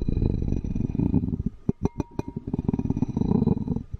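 The tip of a wooden spoon handle scratches across the ridged glaze inside an empty, hollow, patterned ceramic bowl with a dense, low, rasping texture. Partway through, the scratching stops for four sharp, distinct taps, and then the scraping resumes.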